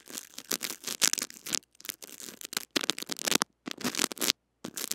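Small white brush bristles scratch and brush across the head of a small metal-mesh mini microphone with a blue body, wrapped in clear cling film and held in the fingers. The result is a series of bright, crackly scratching and rustling bursts with brief silent gaps and almost no low end.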